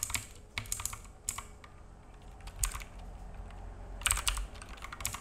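Fingertips of both hands type on a black full-size mechanical keyboard with plastic keycaps and a hollow case, resting on a wooden desk. The repeated key taps come as short, bright clicks with a low, hollow thud beneath them, falling in irregular bursts with a quieter stretch in the middle and a denser flurry near the end.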